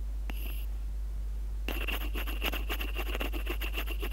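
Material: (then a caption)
Plastic. The tip of a graphite pencil taps a small, hollow, light-blue plastic in-line earphone microphone housing taped to paper, with that same microphone doing the recording. A single tap with a bright, ringing tone comes first, then a pause, then a fast, irregular run of close, crisp taps and scratches over a steady low hum.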